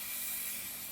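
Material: Nothing is struck.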